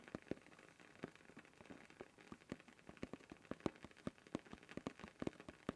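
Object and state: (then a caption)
Plastic-lidded canister, tapped. Fingertips rapidly tap and scratch on the blue plastic lid of a closed, hand-sized cylindrical canister with a paper label, held upright in one hand. The result is a quiet, irregular stream of short, dry, hollow taps with a mid-range tone, little ring, and faint scratching between them.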